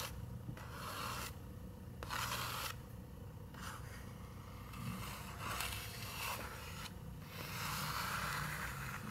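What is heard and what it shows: Long nails scratch across the paper page of a large open picture book with a Christmas tree illustration. Repeated dry, bright scraping strokes rise and fall over a steady low hum.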